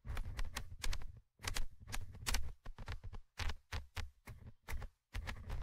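A thin orange stick held in fingers scratches the small metal mesh microphone grille of a Tascam handheld recorder. Irregular bursts of close, raspy scratching carry bright hiss over a heavy low rumble, with brief silent gaps between strokes.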